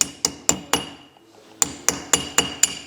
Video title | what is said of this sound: Инструкция по ремонту KDSS Toyota Land Cruiser Prado 150 | слышите звонкий звук? Значит, она на месте.